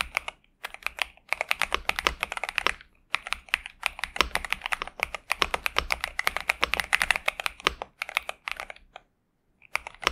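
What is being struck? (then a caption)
Mechanical keyboard with plastic keycaps. A pink and purple Xinmeng M71 65% mechanical keyboard with TTC Superman switches and plastic keycaps, resting on a desk mat, is typed on continuously with the fingertips of both hands. Rapid bursts of short, bright clacks come in flurries separated by brief pauses, with almost no low end and no ring after each keystroke.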